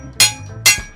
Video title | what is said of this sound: JAPAN SURPLUS AS LOW AS 10 PESOS LANG MAY MABIBILI KA DITO SA SURPLUS SHOP SA AVENIDA | maganda kasi ang metal ito ah. Talagang bakal talaga.